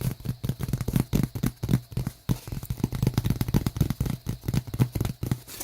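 Repeated quick taps on a large piece of pizza box cardboard make dull, low thuds in a steady, slightly uneven rhythm. Each tap is short, with almost no ring, and the strokes follow one another closely throughout.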